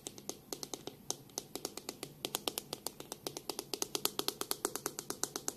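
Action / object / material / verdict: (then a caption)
tap / plastic hairbrush / plastic / none. Long pink nails tap on the back of a black plastic detangling hairbrush held in one hand and flick along its plastic bristles. About forty sharp, dry clicks come in a quick, uneven stream, each bright and snappy with almost no ring. A faint low hum sits underneath.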